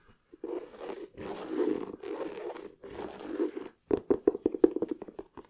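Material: Leather.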